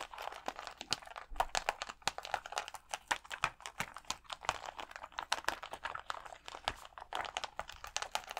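Fingernails scratch and tap the gems on a clear plastic sheet of acrylic rhinestone stickers held against the chest. The result is a steady stream of quick, dry clicks and scratchy crinkles, centered in the mids with a bright edge and almost no low end. Each tap stops short with no ring.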